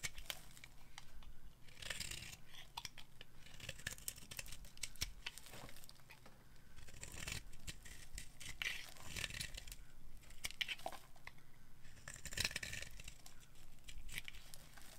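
A hand-sized, solid yellowish bar of dry soap with a black coating, held in the palm, is scraped with a metal knife, shaving off curls and crumbs. Repeated bright, rasping scrapes come in waves over a steady low hum, with sharp crackles where the blade catches.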